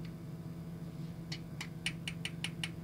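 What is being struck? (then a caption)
Small model car back panel, plastic. Eight light taps on the back panel of a 1/64-scale die-cast Honda Life Diva model car, a separate plastic piece painted purple and black. The clicks are short, dry and bright, ticking at a steady pace over a low background hum. They sound like plastic.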